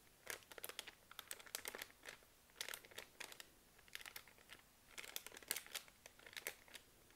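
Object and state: Plastic wet wipes pack.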